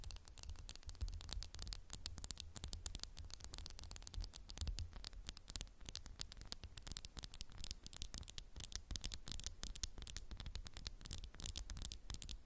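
A candle in a textured glass jar is tapped rapidly with fingernails, making a dense, steady stream of short, bright clicks. Each tap dies away almost instantly, over a low, constant hum that runs through the whole clip.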